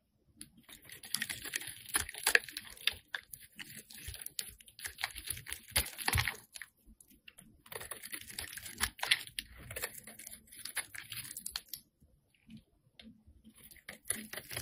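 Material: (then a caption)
Soap. A metal blade scrapes shavings off a solid, hand-sized, light-blue Imperial Leather bar of soap held in the hand. Dense, crisp, bright scratching and clicking comes in rapid bursts, each stroke ending almost instantly. The scraping pauses briefly near the end and then resumes.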